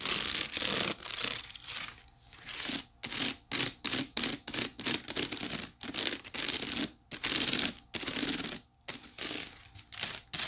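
Long nails scratch along the woven strands of a hollow, empty white wicker basket tilted close to the mic. The result is a series of bright, dry, raspy scratching strokes separated by short silent gaps, with almost no low end.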